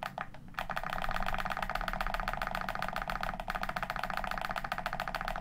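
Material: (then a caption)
Plastic. Thumbs press the face buttons and thumbsticks of a hollow black plastic Xbox One controller held on a table. After a brief quieter start, a rapid, steady stream of sharp plastic clicks and taps runs throughout. A faint low hum sits underneath.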